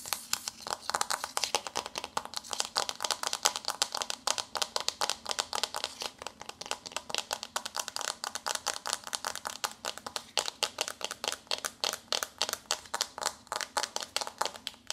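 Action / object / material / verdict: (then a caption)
tap / paperboard eyeshadow palette / paperboard / none. Long nails rapidly tap and scratch the front cover of a flat, glossy pink paperboard eyeshadow palette with a textured wave print, held in both hands. The result is a steady stream of quick, dry, bright clicks and scrapes with almost no ring or low end, continuing throughout.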